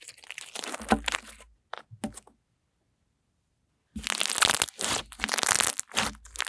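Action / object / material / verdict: scrape / fluffy slime pressed and stretched by hand / slime / none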